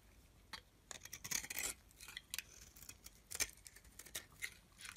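A solid yellow-tan bar of soap, held in the hand, is scraped with a metal blade. Quiet, bright, crisp scraping strokes come in short bursts, some longer shaving passes among quick light ticks. Each stroke stops almost at once with no ringing.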